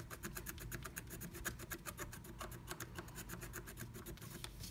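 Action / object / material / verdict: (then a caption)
scrape / scratch art paper scraped with a wooden stylus / coated paper / none. A wooden stylus scratches quickly across flat black scratch art paper inside a diamond-shaped stencil cut-out, revealing pink colour underneath. The clip is a rapid, steady series of short, bright, dry scratching strokes over a low background hum.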